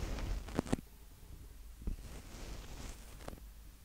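Fingertips from both hands lightly tap and rub the mic capsule heads of a small black plastic Tascam DR-05X handheld audio recorder with a hollow body. Soft, low, dull taps stand out over a quiet, rumbly rustle of fingers brushing the mics, with a few brief spikes that fade almost instantly.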